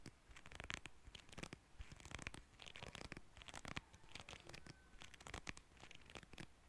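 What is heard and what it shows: A small, solid cream plastic hair comb with fine teeth is held in both hands while fingertips and nails strum and scratch along its teeth. The result is a quiet, continuous run of dry, crackly rasps and quick ticking bursts, bright at the top with a soft low rumble underneath.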